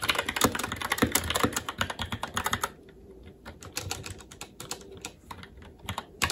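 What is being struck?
Mechanical keyboard with plastic keycaps.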